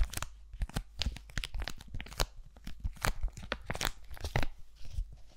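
A single flat, hand-sized aloe sheet-mask sachet made of laminated foil and plastic is held close to the mic while fingernails scratch and crinkle its surface. The result is a rapid run of short, dry crinkling and tearing-like scratches, each a bright broadband burst over a low rumble.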